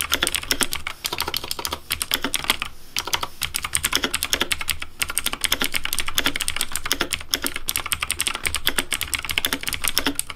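Fast fingertip typing on a pink Razer DeathAdder V3 Pink plastic mechanical keyboard with hollow plastic keycaps. It produces a dense, steady stream of sharp, bright clacks with very short decay and a faint low thump beneath. The rattle pauses briefly a few times before resuming.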